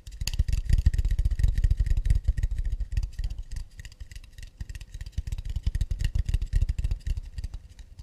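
An empty, round, hollow acacia wood plate held in both hands is tapped quickly with long nails on its underside and rim. The rapid, uneven taps give dull, low wooden knocks with bright, clicky nail edges. They are louder for the first three seconds, ease off in the middle, then pick up again before trailing off.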